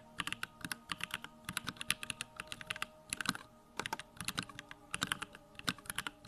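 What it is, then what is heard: Plastic mechanical keyboard. Fingertips type rapidly on a small 65% Bakeneko65 mechanical keyboard with Durock lavender switches, a plastic case, white plastic keycaps and the backlight on. Quick, bright, clacky keystrokes come in dense bursts with brief pauses between, each click sharp and dying away almost instantly, over a faint steady low hum.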